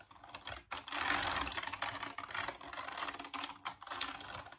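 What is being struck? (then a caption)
Plastic computer keyboard. Fingertips type rapidly on the keys of a full-size, off-white plastic Dreamcast computer keyboard. A dense, continuous clatter of light, bright plastic clicks runs throughout, with brief pauses between bursts.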